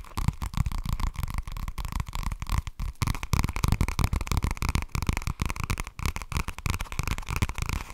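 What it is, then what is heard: Spiral-bound notebook with cardboard cover. Fingernails tap and scratch the flat cream and green cardboard cover of an A5-sized spiral-bound notebook held up in the air. The result is a rapid, irregular stream of dull, low thumps mixed with dry scratching, with a faint hum running steadily underneath.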